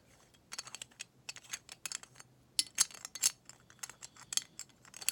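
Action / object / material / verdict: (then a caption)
tap / small glass bottle / glass / none. A small decorative glass bottle, made to look vintage and meant to hold mouthwash, is handled and turned over. A quick series of quiet, bright clinks and glassy taps is heard, each dying away almost instantly, with no low-end body.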